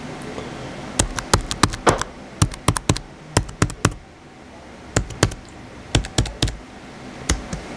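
Fingertips type steadily on the white plastic keys of a small blue plastic HP laptop. Short, sharp clicky taps come in quick irregular bursts, with a brief pause midway, over a faint low background hum. Each keystroke is dry, with almost no ring.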